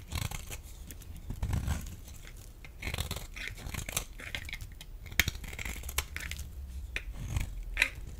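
A metal blade scrapes a dry, solid, rectangular pale yellow bar of laundry soap held in the hand. The result is a run of dry, crunchy scraping and shaving sounds with bright, crisp clicks over a soft low rumble.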